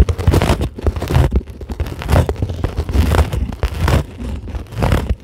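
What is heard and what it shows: Long glittery acrylic nails scratch across a flat, solid, white closed-cell polyethylene foam sheet. The result is a series of dense, rumbling scratch bursts with a deep, muffled low end and little brightness, rising and falling in loudness over several seconds.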